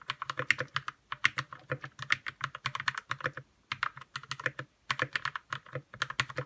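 Fingertips type rapidly on a white 60% RK61 mechanical keyboard with plastic keycaps and lubed red switches. Quick, short clacks with a bright tick around 2 kHz come in fast bursts, with brief pauses near 1, 3.5 and 4.8 seconds.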